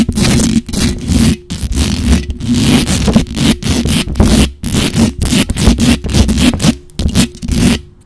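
Long acrylic nails scratch up and down the hollow metal mesh grille of a black condenser microphone. The result is loud, rapid bursts of harsh, raspy scraping broken by brief pauses, heavy with low rumble and a steady low hum beneath the bright friction noise.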